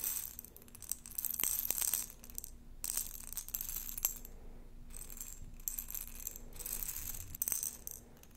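A glass jar holding plastic beads is shaken and handled, giving bright, dense rattling and clinking in several bursts with short quiet gaps between them. A few sharper clicks stand out, and a faint low hum runs underneath throughout.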